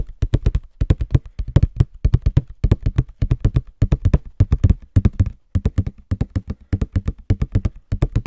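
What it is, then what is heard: Cardboard tissue box. A small, hollow Scotties tissue box of printed cardboard is held in both hands and tapped quickly with fingertips and nails. Rapid bursts of short, dull, low-pitched taps come in repeated clusters with almost no ring after each hit.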